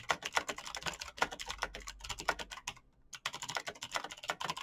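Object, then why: Mechanical computer keyboard with plastic keycaps. Fingertips type rapidly on a black backlit mechanical keyboard with clicky green switches and plastic keycaps, producing a fast, dense stream of sharp, bright clicks. The typing briefly pauses near the three-second mark, then resumes at the same quick pace.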